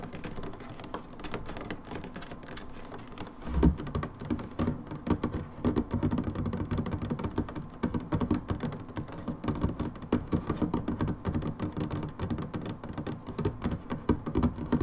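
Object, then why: Plastic bottle. Long nails tap rapidly and continuously on the sides of an upright brown plastic hydrogen peroxide bottle. The taps are dull and hollow, with mostly low-end body and little brightness. Each tap dies away almost immediately, blending into a dense, steady patter with a few louder knocks.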